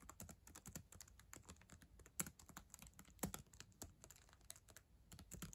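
Long acrylic nails type on a black ThinkPad laptop keyboard with plastic keys, making a rapid, steady stream of short, bright clicks. Two taps stand out louder in the middle, and each click dies away almost instantly.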